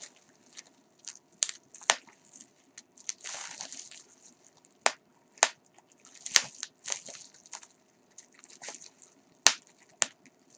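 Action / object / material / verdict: scrape / polyethylene bubble wrap / plastic / none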